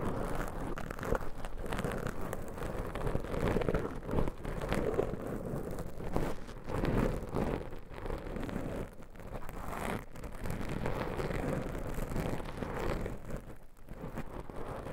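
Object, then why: Foam microphone windscreen. Black foam microphone windscreens are scratched and stroked with long nails, producing a dense, muffled rustling and scraping that stays heavy in the low range with little brightness. The level stays fairly steady throughout, with brief swells and dips.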